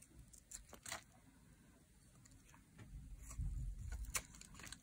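A metal blade carves curls off the edge of a dry, solid teal laundry soap bar embossed with a 72% mark. Quiet, crisp scraping and brittle crackles come in uneven bursts, with bright ticks over a low, steady rumble that swells toward the end.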